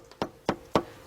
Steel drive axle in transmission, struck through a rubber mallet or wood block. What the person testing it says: when you hit that dull sound you know you got it